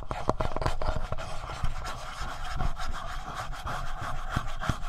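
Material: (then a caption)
Plastic. Fingertips tap and scratch the screen and front panel of a hollow black plastic Tascam handheld audio recorder. Soft, low, dull taps are heard over continuous dry scratching and rubbing, with a faint tone around 630 Hz running underneath throughout.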